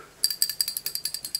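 A 4R70W transmission clutch piston is shaken to check its metal check ball, giving about eleven quick, bright, high-pitched rattling clicks. The ball moves freely, so it is clean, working and in good shape.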